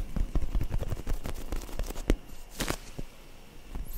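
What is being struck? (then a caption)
Foam squishy toy. Long nails rapidly tap and scratch the surface of a solid, soft yellow-orange foam squishy bread toy held in both hands close to the mic. The taps are dull, muffled low thumps with very short decay, broken by a brief brighter scratching swipe partway through before the tapping trails off more quietly.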